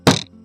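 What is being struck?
Table.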